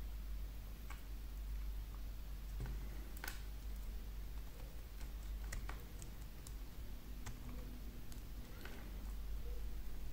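A metal folding knife shaves thin curls from the surface of a remaining solid green wax candle piece with repeated scraping strokes. Soft, irregular scrapes and brief clicking ticks sit over a quiet, steady low hum.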